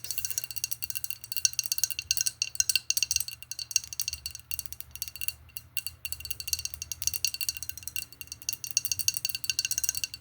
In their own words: I'm gonna do some tapping on this glass bottle because there's some dry herbs in here.